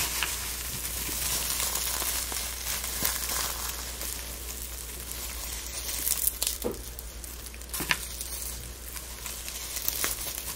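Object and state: Dried rose petals, dry.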